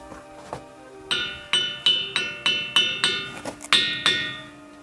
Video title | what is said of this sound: The Ringing Rocks of the Montana Megaliths. #nature | making approximately the same toning sound